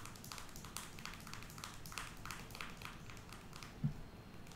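A small plastic Aquaphor lip balm squeeze tube with a cap is held in the fingers and tapped with long nails. The result is a quiet, steady run of quick, light clicky taps with a faint low rumble underneath. One slightly louder knock comes near the end.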